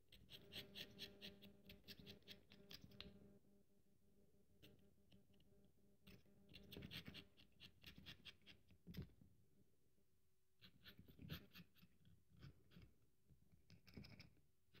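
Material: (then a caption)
Soap. A partly carved solid bar of dry soap, held in one hand, is scraped with a small metal carving tool, with a pile of crumbs beside it. Bursts of dry, crackly scraping with bright, crumbly detail come in clusters, separated by quieter pauses with a low steady hum underneath.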